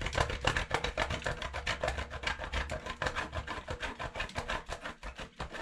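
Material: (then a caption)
Soap. A solid orange bar of soap is grated by hand on a stainless steel box grater. A steady run of quick, uneven rasping strokes, roughly three to four per second, gives a dry, bright scratching texture with a soft low rumble underneath.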